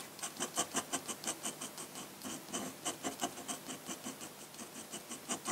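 A steel-nibbed dip pen with a wooden handle scratches dense hatching strokes across a flat sheet of thick drawing paper, its ink bottle sitting idle. About seventeen quick, dry, bright scratches come in a steady rhythm of nearly three per second, each short and raspy with a high, hissing edge and almost no low end.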